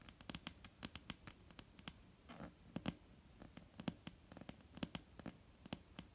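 Nail tips and fingertips tap a flat, solid, dark-brown wooden tabletop up close in a quick, irregular patter of quiet, dry clicks. Each tap has a bright, sharp edge over a soft low knock and stops at once with no ring, and a brief scratchy brush sounds midway.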